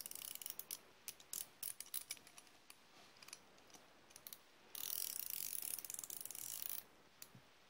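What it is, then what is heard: Steel ratchet wrench. A solid chrome steel flex-head ratchet wrench, held in the hand with a second steel wrench engaged in its head, is cranked back and forth. It makes sharp, bright, dry pawl clicks in short scattered bursts, then a dense, rapid run of clicking for about two seconds. A few last clicks trail off at the end.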